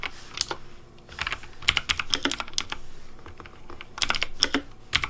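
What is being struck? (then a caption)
Plastic mechanical keyboard. Fingertips type on a pink Razer Deathadder V3 Pink plastic mechanical keyboard with hollow plastic keycaps. The result is a quick, uneven run of clicky, bright keypresses with very short decay. The keypresses come in bursts separated by brief pauses.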